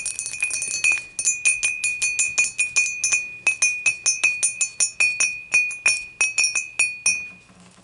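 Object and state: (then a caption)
Glass beer mug. Long matte nails tap the sides of an empty, clear dimpled glass beer mug standing upright, in a rapid run of light taps. Each tap gives a bright, glassy clink with a steady ring near 2.5 kHz and a very short decay. There is almost no low end.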